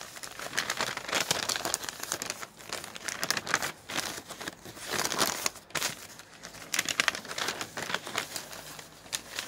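A crumpled sheet of thin printed newsprint flyer is crushed and rubbed between the hands, with the fingertips folding and squeezing the loose paper. The result is dense, bright crinkling and crackling that comes in surges with brief quieter gaps between them.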